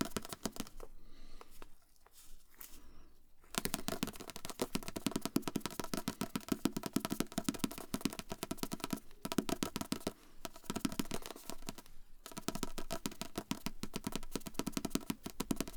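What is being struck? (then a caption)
Book. A book is tapped with the fingers in rapid, soft taps. After a quieter, sparser opening of about three and a half seconds, the tapping becomes dense and steady, with brief pauses around the middle. Each tap is a short, dull thump centered in the low-mids that dies away almost instantly.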